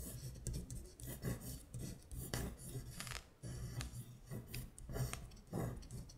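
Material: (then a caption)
Paper. A long acrylic nail traces and scratches over the handwritten letters on a thin printed paper sheet lying flat. The result is a run of dry, raspy scraping strokes with bright, hissy edges that swell and fade in short bursts over a steady low hum.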